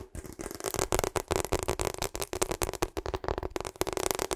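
Long acrylic nails rapidly tap and scratch a hollow, ribbed pink and purple rubber hot water bottle. Quick, dense clicks and scratchy rasps carry a hollow, rubbery tone around 370 Hz, with short bright crackly edges.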